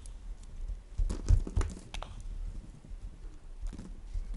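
A solid white bar of soap is shaved with a green plastic peeler in repeated scraping strokes. Soft, irregular rasps and brief crisp scrapes rise over a low, muffled rumble, each stroke dying away almost instantly.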